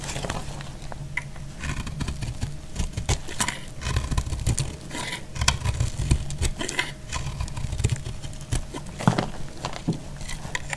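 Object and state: Dry soap bar shaved with a blade.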